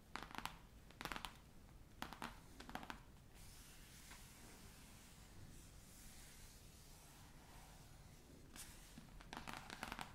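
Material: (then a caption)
Cloth, board. Long nails and fingertips tap and scratch quickly across the cover of a large, solid, navy cloth-covered hardcover atlas lying flat. Clusters of quick, crisp, bright scratching taps come in bursts near the start and again at the end, with a quieter stretch of soft, hissy rubbing in between.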